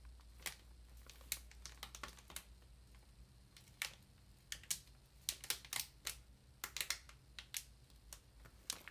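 Long nails tap and scratch the plastic wrap on top of a large, solid paper ream. Sharp, bright clicks and soft crinkly scrapes come in an irregular patter over a faint low hum, each tap dying away almost instantly.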